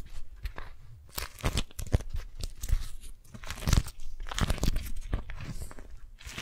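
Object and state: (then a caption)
Beeswax-coated cotton food wrap being crumpled. An orange, yellow and teal beeswax-coated cotton food wrap is balled up in both hands while the fingers crumple, squeeze and grip it. The result is a steady run of crinkly, sticky crackles and soft crunches, with brief bright snaps over a low, muffled handling rumble.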